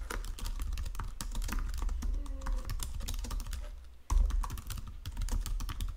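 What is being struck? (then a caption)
Plastic computer keyboard. Both hands type continuously with fingertips and short nails on a full-size white-and-silver plastic Logitech wireless keyboard lying flat on a marble surface. Rapid, clicky key taps ring over a steady low hum. The typing thins out briefly around the four-second mark, then resumes with a louder burst of clacks.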